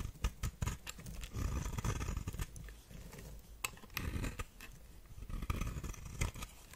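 A knife blade scrapes and shaves the surface of a solid white shaped soap bar held in hand, and flakes fall onto a pile of shavings. The scraping is a dense run of dry, crackly rasps with short sharp clicks, over a low, muffled rumble.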